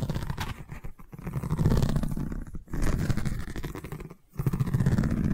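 Long nails scratch along a long cylindrical tube covered in woven seagrass straw weave, producing a dense, low, rumbling scrape with a rough, rapid texture. The scratching runs in strokes separated by brief quiet gaps near 1, 2.6 and 4.2 seconds.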